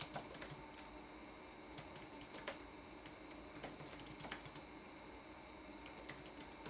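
Fingertips type on a red-backlit laptop keyboard with plastic keycaps, producing soft, quick clicky taps in irregular bursts with brief pauses between. Each tap is a light, bright click over a faint steady background hiss.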